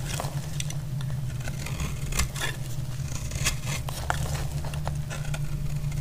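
A utility blade scrapes a solid, dry green bar of soap into shavings. Short, crisp scraping ticks and bright crackles rise over a steady low hum that carries on underneath throughout.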